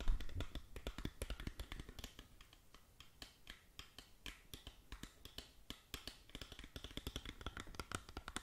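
Long nails tap and click across the surface of a small, hollow, printed cardboard cosmetic box held in both hands. A rapid run of short, dry clicks with a faint hollow low thump, busiest and loudest at the start, sparser and quieter in the middle, then quickening again toward the end.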